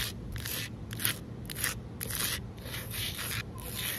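Long nails on both hands scratch and rub the rough surface of flat, solid outdoor concrete pavement. The result is a series of bright, scraping bursts of hiss that come in uneven strokes. A steady low rumble runs underneath throughout.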